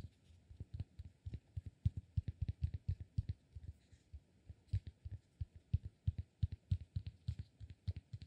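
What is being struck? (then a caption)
Cork block. A palm-sized solid cork block is turned in both hands while fingertips tap and scratch it. A steady, irregular run of soft, dull, low thuds, each dying away almost instantly, comes with faint light scratching between them.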